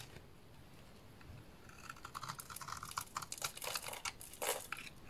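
A small blade scrapes and cuts curls off a solid purple oval bar of soap with an embossed logo. After a quiet start, a run of crisp, crackling scrapes builds into dense, bright crunching cuts around a mid-high tone.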